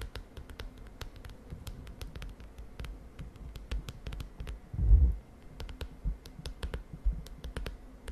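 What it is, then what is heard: Plastic-covered spiral notebook. Long dark nails and fingertips rapidly tap the plastic cover of a closed lilac spiral-bound notebook with a wire spiral, resting on a bed sheet. A steady run of soft, dull, low-pitched taps with faint clicky edges continues throughout, with one heavier, louder thump near the middle. Each tap dies away almost at once.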